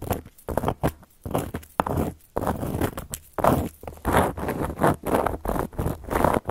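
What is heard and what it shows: Long gold metal claw nails scratch across a round, flat, solid cork coaster, making dry, crunchy scraping strokes. The strokes come in short bursts separated by brief pauses, with a dull, woody low body and little high-end brightness.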